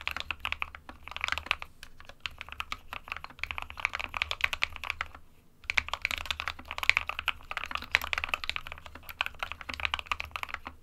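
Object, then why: Plastic mechanical keyboard. An SK61 small 60% mechanical keyboard with a white plastic case and plastic keycaps, resting on a printed desk mat, is typed on rapidly with the fingertips of both hands. The result is a steady stream of quick, bright plastic key clicks and clacks centered around 2.3 kHz, with a brief pause just past five seconds before the typing resumes, over a faint low hum.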